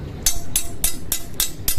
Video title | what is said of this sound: PART 2..!!KENALI BAJA DAMASKUS ABAL",,JANGN TERTIPU AWAS PEDANG NYA BISA PATAH...!!! | Ini besi kosong.